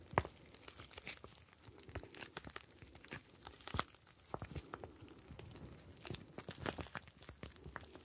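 A clear plastic pouch ice pack filled with blue gel beads is kneaded with both hands, the beads sliding inside. It makes a continuous quiet crinkling and squishing with many short, sharp clicks and crackles that reach into the high range.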